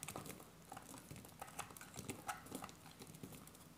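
A hand-sized, solid green dry soap bar is shaved and cut with a metal utility-knife blade held in the other hand. It produces repeated short, crisp scraping crunches with bright, dry edges that stop quickly. The sound is quiet and close, with a slight low rumble beneath.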